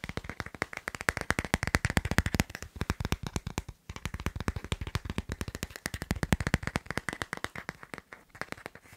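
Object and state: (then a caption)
Phone in hard plastic case. Fingertips and short nails tap rapidly on the back of a hand-sized smartphone in a matte black hard plastic case with a white line drawing, held in the other hand. Dozens of quick, dry clicks follow one another with almost no ring, weighted toward a low body with a brighter tick on top, pausing briefly a couple of times before continuing.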